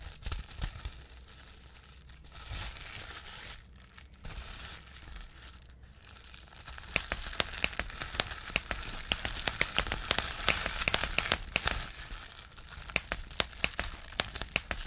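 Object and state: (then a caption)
Plastic bubble wrap being popped. A clear plastic bubble wrap sheet is held up and crinkled, then its bubbles are pinched and popped with the fingertips of both hands. Soft rustling and crinkling give way to a rapid, irregular run of sharp, bright pops over a steady crackle.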